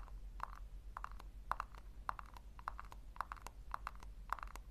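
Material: Plastic.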